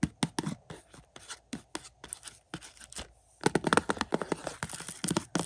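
Fingertips scratch and crinkle the clear plastic outer sleeve of a hollow 4K Blu-ray case for the movie Inception. Quick dry scratches and short crinkles run together at first, then grow louder and denser in the second half with bright crackling.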